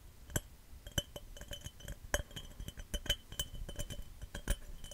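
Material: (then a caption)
Glass. A glass cup is tapped fast and aggressively, giving a rapid run of bright, clear clinks that ring briefly at a high pitch. Sharp taps of varying strength come in quick succession, with softer scratchy sounds between them.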